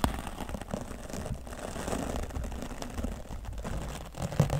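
A wooden natural-bristle brush sweeps over the left side of a grey foam microphone windscreen. It makes a steady, dense, low scratchy rustle that sits mostly in the bass, with a brief louder bump near the end.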